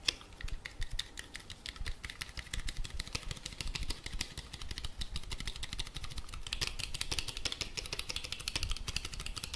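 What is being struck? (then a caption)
Plastic handheld radio casing. A black plastic handheld walkie-talkie with a long antenna is held in both hands and tapped and scratched with fingertips and nails. A dense, steady stream of quick, dry clicks and taps with bright scratchy hiss runs throughout over a low rumble, each tap dying away almost instantly.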